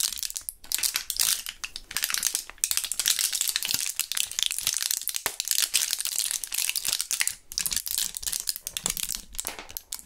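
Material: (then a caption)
Plastic, foil. A small clear plastic blister pack of Thrills gum with foil backing, partly full of purple gum pieces, is handled and crinkled with gloved fingertips. Dense, bright crinkling and crackling runs throughout with almost no low end. Short sharp snaps come and go in uneven bursts.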